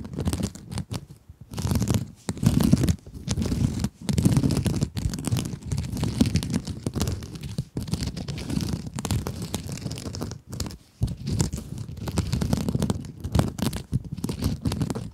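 Long acrylic nails scratch a small pink scrub sponge made of sparkly woven glitter mesh, producing dense, crinkly scratching in bursts separated by brief pauses. The rasping is full-bodied and weighted toward the low end, with faint bright edges and no ringing after each stroke.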